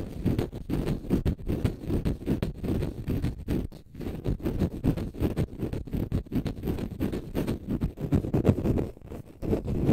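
A small green konjac sponge puff, porous and solid, is held in the fingers and scratched with fingernails. The result is a dense, continuous run of low, muffled rasping scratches with quick dry strokes and almost no high end.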